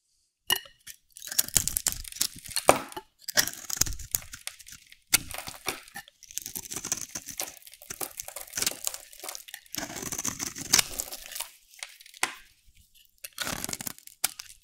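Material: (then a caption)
Soap. A solid bar of dry pink soap is held in the hand and shaved with a metal utility blade, so flakes peel off. Bursts of dry, crisp scraping and crunching, bright and crackly with little low end, come in strokes separated by short pauses.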